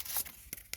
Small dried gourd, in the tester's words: you can hear them they're quite hollow when you knock on them